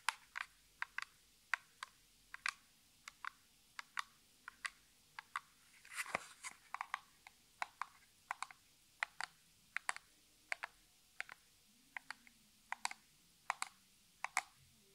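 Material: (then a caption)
Cardboard. Long natural nails tap and scratch the sides of a small, hollow, printed Essie cardboard nail polish box held in both hands. Around forty sharp, dry, bright clicks come in an irregular rhythm, each dying away almost instantly in a quiet setting. A brief, louder rustling scrape breaks in around the six-second mark.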